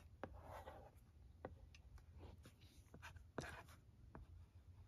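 A pencil-shaped stylus writes letters on a flat plastic LCD writing tablet resting on carpet, scratching across the screen with soft, low rubbing strokes. Sharp, distinct taps break through the scratching.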